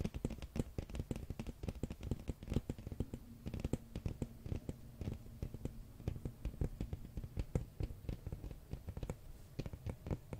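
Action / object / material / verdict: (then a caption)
tap / large hardcover book with glossy cover / cardboard / none. A large, solid, flat hardcover art book with a glossy printed red dragon cover is held up in both hands while fingernails tap and scratch across the cover. Rapid, dense, dry taps with a deep, hollow body and very short decay mix with soft scratching, continuing steadily throughout.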